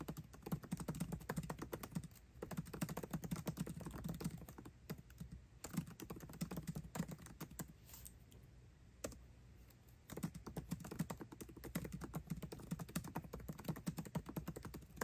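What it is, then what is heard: Laptop keyboard, plastic keys in aluminium body. Fingertips type fast on a MacBook Pro keyboard with plastic keycaps set in an aluminum body. The result is a dense stream of short, dry key clicks with a low, thocky body and brief pauses between bursts. A longer quiet stretch comes near the middle before the rapid typing resumes.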